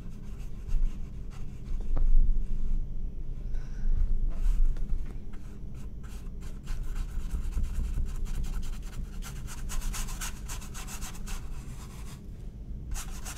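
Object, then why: Stretched cotton canvas on a wooden frame, brushed. A paintbrush rubs and strokes across a medium, flat, blue-painted cotton canvas stretched on a wooden frame. A soft, steady scratchy brushing runs throughout, with faint bright rasps over a low, constant rumble, in irregular strokes that rise and fade.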